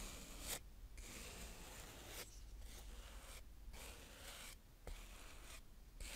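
A fingertip pushes a blue plastic spade across a flat round patch of brown kinetic sand on a tray in slow scrapes. The result is soft, grainy, broadband scraping strokes with a hissy high end, separated by brief quieter pauses.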